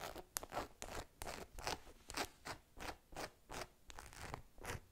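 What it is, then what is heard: Rubber dinosaur toy. A small, hollow-looking green rubber or vinyl dinosaur figure is held in the hands and scratched and tapped with long pink nails. Short, irregular bursts of dry, crackly scratching and light tapping repeat throughout, with soft pauses between them.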